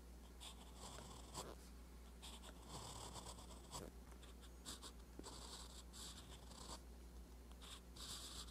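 A steel fountain pen nib scratches across a flat page of a lined, spiral-bound paper notebook while writing. It makes quiet, bright, dry scratchy strokes in short bursts over a steady low hum.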